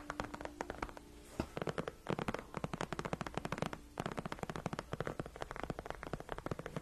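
Long nails of both hands scratch and tap the large padded backrest of a white faux leather gaming chair. It makes rapid flurries of dry, clicky taps and scratches, each with a soft padded thump underneath. The flurries stop only briefly before picking up again.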